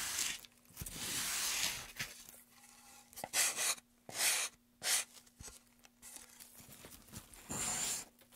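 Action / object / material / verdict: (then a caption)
scrape / wooden pen tray / wood / none. Gloved hands hold a solid, light wooden pen tray and make repeated scraping and rasping strokes along its carved groove. The strokes come in bursts of bright, dry, tearing-like rasps with short pauses between them. A faint steady hum sits low underneath, around 230 Hz.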